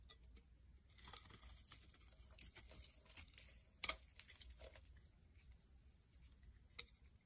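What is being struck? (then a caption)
Bar of soap cut with a metal blade. A rectangular solid bar of soap with a pink face and orange edges is held in the palm and shaved into crumbly flakes with a metal blade. Soft, bright, crackly scraping and crumbling fills the clip, with sharper crisp snaps near the four-second mark and again toward the end. The sound stays quiet and mostly high, with little low end.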